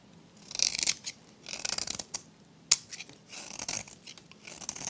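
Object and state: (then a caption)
Dry soap bar. A metal blade scrapes layers off a solid, dry turquoise soap bar with a magenta rim, held in the hand. Bursts of dry, bright scraping and crumbling come in short passes, broken by a sharp click near the middle.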